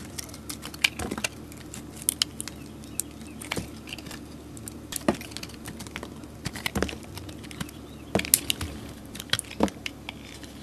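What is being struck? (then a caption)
Bar of soap. A solid orange soap bar with glitter, held in the hand, is scraped with a utility blade. Short, crisp, bright scraping clicks and flicks come at an irregular pace over a faint, steady low hum. Each stroke stops dead with no ring.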